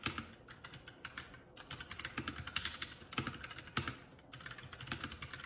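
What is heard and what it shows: Fingertips of both hands type continuously on a Keycool K84 75% mechanical keyboard with plastic keycaps. The result is a quick, steady clatter of bright, short key clicks with a low thock under each press and brief lulls between bursts. Each keystroke dies away almost instantly.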